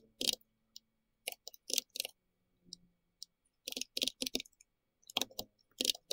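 Fingertips of both hands tap continuously on the round plastic keycaps of a pink-red compact plastic mechanical keyboard. Quick, dry, bright clicks and clacks come in irregular bursts with short silent gaps, each keystroke ending almost instantly with a light hollow body beneath the high click.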